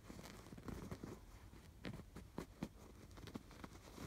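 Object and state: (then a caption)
Yarn-embroidered canvas pillow. Fingertips and nails scratch across the raised blue and yellow yarn stitching on a soft stuffed canvas pillow, tracing the crossing stitch lines. The result is a quiet, dry, scratchy patter of short bristly strokes, low and muffled with only a faint bright edge, each one dying away almost instantly.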